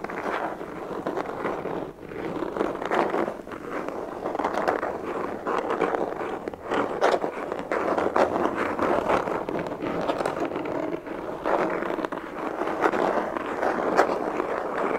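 A black, hollow, medium-size molded hard plastic pistol case, held in both hands, is tapped and scratched with long fingernails across its textured shell. A steady stream of dry mid-range scraping and crackling is heard, broken by sharp, short taps that die away almost at once.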